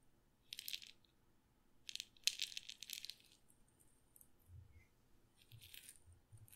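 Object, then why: Glass pepper grinder with peppercorns. A glass pepper grinder with a red and black plastic top, filled with peppercorns, is held sideways in one hand and shaken so the peppercorns rattle against the glass. Several short bursts of bright, crisp, high rattling come in quick clusters, separated by near silence. Faint low thumps are heard near the end.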